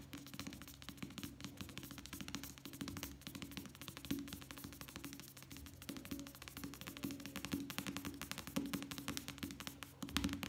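A small softcover paperback novel, "La vieja sirena," with a paper cover, is held upright and rapidly tapped with the fingertips of both hands. The quiet, dry taps come in a dense, continuous patter with a low hollow tone around 280 Hz and a bright papery edge, each tap dying away almost instantly.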